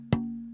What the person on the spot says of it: if I hold in different ways I can get different responses